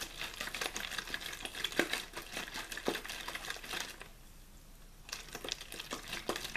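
A clear, thin plastic water bottle with a blue label, hollow and apparently empty, is held in one hand and shaken and squeezed back and forth. The plastic gives off dense, bright crinkling and crackling with sharp snaps, pausing into near-quiet for about a second midway before the crinkling resumes.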